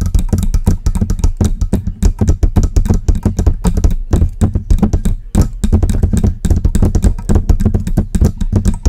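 Long pink press-on nails tap and scratch the hollow metal body and stand yoke of a silver Blue Yeti-style desktop USB condenser microphone resting on its stand. A dense, rapid run of sharp clicking taps plays with a deep, boomy low thump under each one, broken by short scratching passages. The taps die away quickly.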